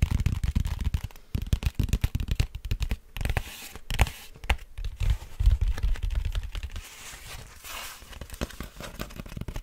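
Fingertips and nails scratch and tap the surface of a large, flat, brown cardboard vinyl mailer printed with FRAGILE, held up hollow in front of the mic. The result is a dense run of quick, dry scratches and soft taps with a deep, hollow low-end thump. There are brief pauses and a quieter, lighter stretch of scratching near the end.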